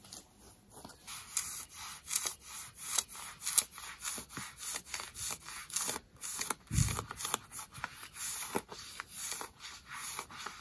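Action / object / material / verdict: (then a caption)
scrape / denim jeans fabric and seam / denim / none. Long nails scratch distressed denim jeans worn on the thigh, raking across the fabric and its seam. About 19 short, bright, rasping strokes come in a steady rhythm, with a soft low thump partway through.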